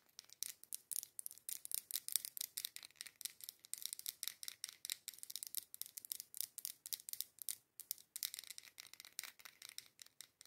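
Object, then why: Glass candle jar with label. Long pointed acrylic nails rapidly tap and scratch the white label and glass wall of a matte dark-green glass candle jar filled with candle wax. The result is a quiet stream of crisp, dry clicks and scratchy rasps, almost entirely high and bright with no low end. Each tap cuts off almost instantly, without any ringing.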